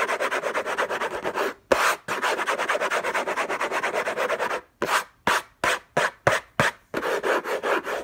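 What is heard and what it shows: Fingertips and short nails scratch the lid of a closed, long rectangular orange Hermès box made of textured-paper-covered cardboard, contents unknown, lying on a fluffy blanket. Quick, dense, raspy scratching strokes run in bursts with brief silent gaps, then turn into separate single swipes before speeding up again. The dry rubbing sits mostly in the midrange with a bright papery edge.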